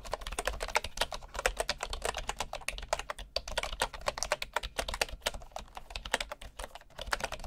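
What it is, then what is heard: Bamboo wooden keyboard typing. Fingertips of one hand tap rapidly on a bamboo wood computer keyboard with wooden keycaps. The sound is a fast, steady stream of short, dry clicks with a bright edge and almost no ring, over a faint low hum.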